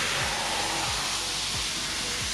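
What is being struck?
Nothing is struck.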